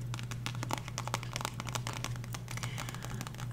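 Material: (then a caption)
Cardboard. Long nails rapidly tap and scratch the card cover of a solid, square, dark blue book, "Remember Be Here Now," held in both hands. The result is a dense run of quick, dry, crinkly clicks and scrapes with a bright edge, over a steady low hum.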